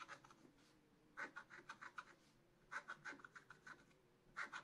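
A wooden stylus scratches leaves into the upper right of a black-coated scratch-art card in a spiral book. Quick, dry, bright scratching strokes come in repeated bursts with quiet pauses between them, each stroke rasping sharply against the coating.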